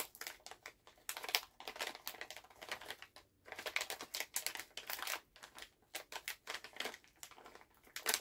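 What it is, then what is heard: Plastic candy bag being crinkled. A full Halls resealable plastic cough drop pouch is held in both hands while fingertips and nails squeeze, crinkle and tap the bag. The result is a steady run of quick, dry, bright crinkles and clicks in short bursts with brief pauses between, with no low end.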